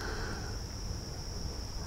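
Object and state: Nothing is struck.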